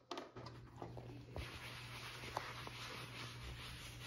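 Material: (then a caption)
Leather. A brown leather field-notebook cover, a thin, flexible flat sheet stitched into a folded cover, lies on a cutting mat and is buffed by hand with a white fabric applicator pad in circular rubbing strokes. The result is a quiet, steady, airy scuffing hiss over a constant low hum, broken by a few faint soft taps and light brushing accents.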